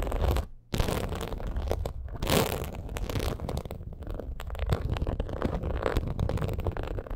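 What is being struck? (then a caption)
Ridged faux leather purse. Long acrylic nails scratch across the ridged surface of a black faux crocodile leather purse, making dense, continuous rough scraping and scratching with a low, rumbly body. A brief pause falls near the start, then the scratching runs steadily to the end.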